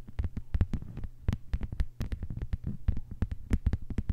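Long white-polished nails tap and scratch a thin, solid, flat lime-green plastic cutting mat lying on a table. The result is a rapid, uneven run of short, dry clicks and soft scratches, each dying away almost instantly, over a steady low hum.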